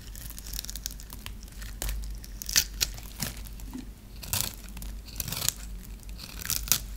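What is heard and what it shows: A hand-held dry, solid white bar of soap is grid-scored and scraped with a metal blade, so crisp small cubes break off. Bright, dry scraping and crinkling runs throughout, broken by sharp crunchy snaps as the cubes come loose, over a steady low hum.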